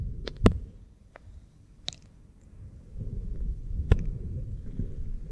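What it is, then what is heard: Silicone ear microphone being rubbed and scratched. Fingertips and nails rub and scratch an oiled pink silicone ear microphone and its base. The result is a muffled, low rumbling friction with a few sharp, bright scratchy clicks. The rubbing swells louder and steadier in the second half.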